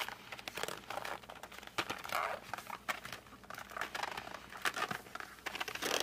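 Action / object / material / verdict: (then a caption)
scrape / flat cardboard box of colored pencils / cardboard / none. A closed, flat cardboard box of 52 colored pencils is gripped with fingertips and thumbs, then fingertips are rubbed along its edge. It makes a run of dry crinkling and squeaky rubbing bursts, bright and fairly quiet, with almost no low end.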